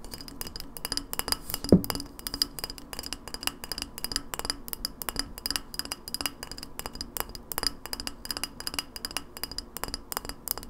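Long nails tap rapidly on an empty, hollow glass lemonade bottle, embossed and with a paper label, held on its side. The steady stream of short, bright glassy clicks barely rings, with a faint low body tone underneath and one louder knock near the start.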